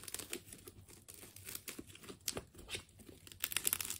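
A utility knife slices through the layers of a partly cut, purple wound plastic tape ball. It makes a steady run of bright, crisp tearing and crinkling sounds, with sharper crackles toward the end.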